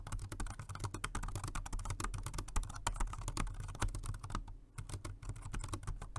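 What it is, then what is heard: Plastic wireless keyboard. Both hands type with their fingertips on a dark grey, low-profile plastic Jelly Comb multi-device keyboard, a rechargeable dual-mode 2.4G wireless and Bluetooth model. The result is a rapid, steady stream of short, dry plastic key taps with very little ring, layered over a constant low hum, with a brief lull near the end before the typing resumes.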